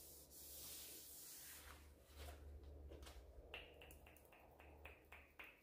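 A hand in a green rubber glove rubs and buffs the glossy reddish-brown varnished top of a large solid wooden dining table with a white cloth and beeswax. A broad, airy swishing hiss over a steady low hum gives way to a run of quick squeaky strokes, each with a bright ringing tone near 2.7 kHz.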